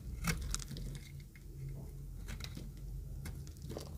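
A utility knife blade scrapes the surface of an oval, pink-green speckled solid dry soap bar. Short, bright crunchy scrapes and crumbly crackles come in irregular bursts over a steady low hum.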